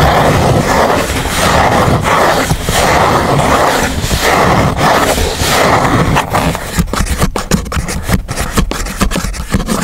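A fingernail scrapes along the crease line of a thin grey chipboard sheet lying flat while the other hand holds it down. Steady, dense, rough scraping fills the first six seconds, then breaks into shorter, choppier strokes with sharp dry ticks toward the end.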